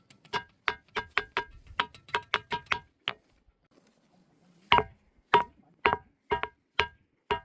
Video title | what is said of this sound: 천하명당 밀양 만어사, 바위에서 종소리 나는 신비한 사찰, #소원돌, #전설의 돌의자, | 바위를 두드리면 맑은 종소리가 나서